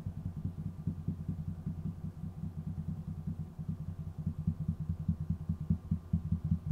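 Fingertips of both hands tap and drum on a large, solid wooden tabletop with visible grain, on either side of the microphone. The result is a fast, uneven patter of short, dull, low thuds with almost no high end and no ring.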